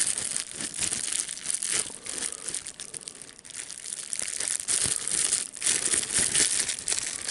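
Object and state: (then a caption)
Plastic bubble wrap being crinkled and popped. A folded sheet of clear plastic bubble wrap with air bubbles is squeezed between the fingers, popping bubbles and crinkling the plastic. Dense, bright crackling and sharp snaps come in uneven bursts, mostly in the high range with almost no low end. They fade briefly and then swell again.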